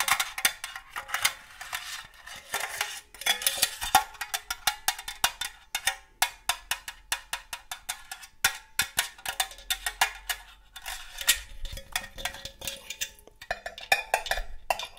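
Long gold metal claw nail covers tap rapidly on the body and rim of a hollow, red-printed cylindrical metal cookie tin. They make dozens of quick, bright metallic clicks and pings with a short ring around 780 Hz. The taps come in uneven bursts and pauses.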